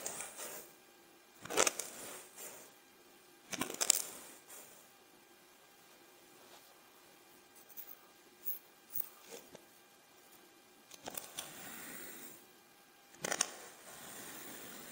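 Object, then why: Kinetic sand block cut with a steel knife. A steel kitchen knife slices a solid, dense half-round block of pink, blue and yellow kinetic sand into thin strips on a white surface. The blade presses and cuts down through the sand and scrapes against the tabletop. Each cut is a soft, bright, gritty crunch or hiss at irregular intervals, with quiet pauses in between.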